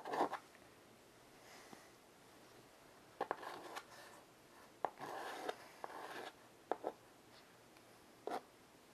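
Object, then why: Chalk on a wood-framed chalkboard. A child's fingers draw lines with white chalk on a solid black chalkboard set in a wooden frame. Short scratching, rasping strokes come in scattered bursts centred around the mid range, with quiet pauses between them.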